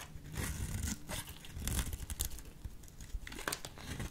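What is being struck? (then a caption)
Bar of soap. A solid lilac soap bar, held in a hand with long purple nails, is carved into fringes with a small metal blade. Steady dry scraping and crumbly, tearing crunches run throughout, with a strong low thump beneath bright flicks of shaved soap.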